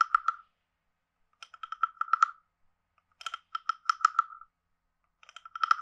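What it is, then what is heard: Wooden frog guiro. A wooden stick taps quickly along the lower edge and body of a hand-sized, carved, hollow wooden frog guiro with a ridged back. Four bursts of rapid, dry, hollow clicks, separated by silences, each ring with a woody tone around 1.3 kHz with bright overtones and die away almost instantly.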